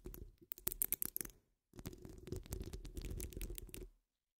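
Long acrylic nails scratch the sides of a wire-mesh microphone grille, making dense, crackly scratching with a heavy, close low-end rumble and sharp bright ticks. Two bursts of scraping are split by a brief silence, then the sound stops abruptly.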